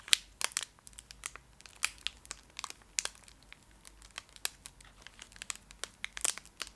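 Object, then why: Foil-wrapped candy bar. A small, full Fry's Turkish Delight bar in a shiny foil wrapper is scratched and tapped with long acrylic nails close up. The result is a quiet run of sharp, bright crinkles and clicks with almost no low end, each snapping off instantly.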